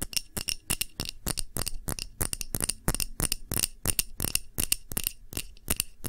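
Fingernails tap quickly and unevenly on a clear glass tumbler holding red wax candle, held in both hands, making about 28 sharp clicks. Each tap gives a short, bright, high glassy ping that dies away almost at once, with a faint low thud under some of them.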